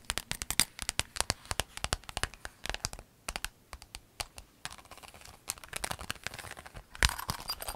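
A rainbow clear vinyl pencil case with a zipper, held in the hands, is squeezed and crinkled with long nails. Rapid, bright crackling snaps and taps fill the first half. They thin into softer, hissy crinkling, then a sharp, louder crackle near the end gives way to steady crinkling.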